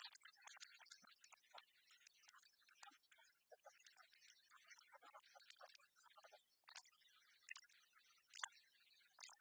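A small clear plastic spray bottle, partly filled with liquid, is held in the hands and tapped and scratched with long fingernails. The result is a quiet, fast run of crisp, bright clicks and scratchy ticks, mostly high-pitched with almost no low end.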